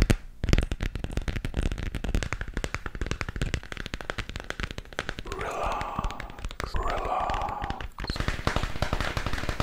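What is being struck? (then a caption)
Plastic moon lamp sphere. A glowing hollow plastic moon lamp sphere is tapped on its textured surface with fingertips and nails. Rapid, dense clicks and soft taps run throughout, with a low thud at the start. A brief hissy scraping layer rises midway before the quick tapping returns.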